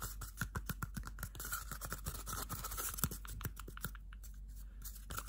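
A small, hollow, empty cardboard toilet paper roll is held close and scratched and tapped along its outside with bare fingernails. A rapid, uneven run of short, dry, papery taps and scrapes follows, each with a soft hollow thump low in the sound and a faint bright rasp, over a quiet steady background.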